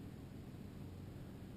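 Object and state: Nothing is struck.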